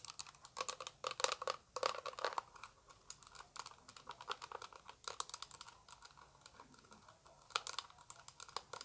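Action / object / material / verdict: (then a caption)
tap / small plastic eyeshadow palette tapped with long nails / plastic / none. Long acrylic nails tap rapidly on the face and edge of a small, hollow orange plastic eyeshadow palette. The taps make quick, dry, clicky sounds with a hollow mid-range tone and bright edges. They come in uneven bursts with brief pauses and die away almost instantly.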